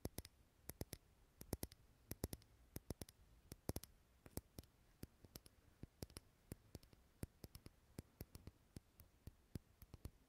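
Fingernails tap the walls of a small clear glass jar candle filled with solid green wax, held close to the mic. Dozens of quick, dry clicks follow in an uneven rhythm, each a sharp broadband tick that dies away almost instantly over a quiet background.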